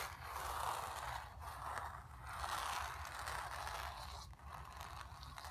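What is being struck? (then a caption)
Painted stretched canvas. Long nails scratch across the surface of a painted, stretched canvas. Dry, rasping strokes rise and fall in repeated swells, with a scratchy tone centered near 1 kHz and a faint low rumble underneath.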